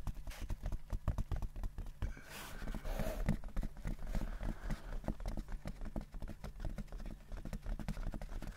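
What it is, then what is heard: Fabric-covered hard-shell case, hollow. A large, hollow, closed oval hard-shell headphone case covered in grey textured fabric is held in both hands and tapped and scratched with the fingertips and nails. Quick, dull, low-pitched taps keep up a steady patter, with a brief scratchy, rustling stretch in the middle.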